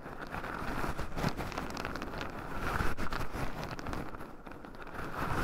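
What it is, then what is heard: Raw pine nuts stirred in a wooden bowl. Two wooden chopsticks stir, poke and scratch through a small wooden bowl heaped full of raw shelled pine nuts, with two black microphones buried in the pile so the nuts also rub against them. A steady, dense rustling crackle of shifting nuts runs throughout, weighted toward low, muffled tones with a few slightly louder grinding swells.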